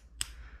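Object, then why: Aluminum rifle rail cable clip. A very lightweight aluminum cable clip for an Armalite rifle rail, made by Emissary Development, is tapped once. It gives a single sharp, bright click with high overtones and a very short ring over a low background hum. The light clip sounds almost like plastic, yet it is aluminum.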